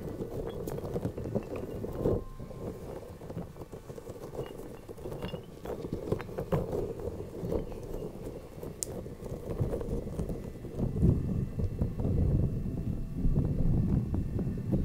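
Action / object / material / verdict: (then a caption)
scrape / soft rubber spiky puffer ball / rubber / none. A small, soft, lime-green spiky rubber puffer ball, hollow and squishy, is held in the fingertips, squeezed, and its spikes are rubbed close to the microphone. The result is a steady run of soft, low, muffled rubbery rubbing and squishing with rapid, irregular scratchy ticks and no high sparkle.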